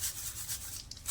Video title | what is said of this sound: आत्ता घरीच बनवा सीक्रेट ताज्या मसाल्यातला पुण्याचा फेमस लक्ष्मीनारायण चिवडा l अजिबात नरम पडणार नाही | असा खुळखुळ आवाज आला पाहिजे